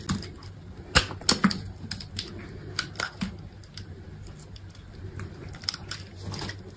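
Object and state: Dry soap bar, carved.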